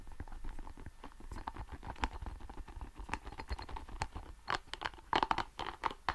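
A small, hollow, red translucent soft rubber ball covered in spikes is squeezed and scratched with fingertips. Quiet, dense scratchy patter and short taps run throughout with a mid-range tone, and a few louder squeezing bursts come near the end.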